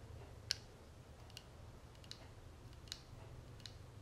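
Long nails tap the ribbed edge and front of a small, closed, hollow gold-tone metal cigarette case with a tortoiseshell-pattern panel, held in the palm. Five sharp, bright clicks sound apart, each dying almost at once, over a quiet low rumble.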